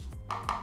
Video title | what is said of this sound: 1 Headphone untuk segala keperluan ! Review Earfun Wave Pro Hi-Res LDAC Hybrid ANC Low Letancy ! | oke lumayan padat bagian sini lumayan